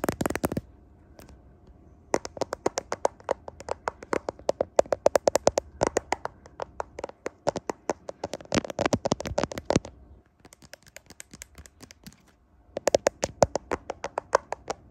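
A smartphone in a clear plastic case is held in both hands in front of a mirror while fingertips and nails tap and scratch the back of the case and the camera lenses. Dozens of sharp, dry plastic clicks and ticks come in rapid bursts, with short pauses and a quieter stretch near the end before a final flurry.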